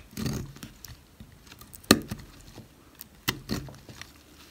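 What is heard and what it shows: A knife blade slices thin cuts into a solid, dry white oval bar of soap held in the fingers, leaving crumbly shavings. Short, dry, crisp cutting snaps with bright, quick-fading clicks stand out over quieter soft scraping and crumbling between them.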